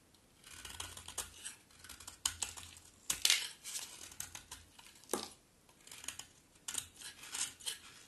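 A utility knife blade scrapes a solid, dry, terracotta-pink bar soap with an embossed logo, shaving it into curls. Crisp, bright scraping strokes come in a series of short rasping bursts with brief pauses between them. A few sharper cuts stand out over a faint low hum.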